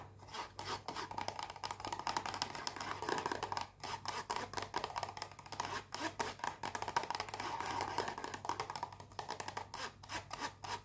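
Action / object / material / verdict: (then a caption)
scrape / small cardboard box scratched with fingernails / cardboard / none. Long painted fingernails rapidly scratch and rub a small white rectangular cardboard perfume box, unwrapped and still closed. The result is a dense, dry, raspy scratching with a papery mid-range tone and bright edges, broken by brief pauses near 3.7 and 6 seconds over a faint low hum.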